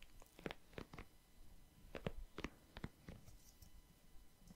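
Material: Silicone.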